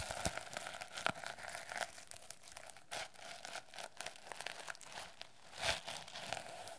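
Long nails scratch and tap the reversible plastic sequins and the cover edge of a medium-sized hardcover notebook, held first edge-on and then face-on. The result is a quiet, bright crinkling scratch broken by dry, short clicking taps.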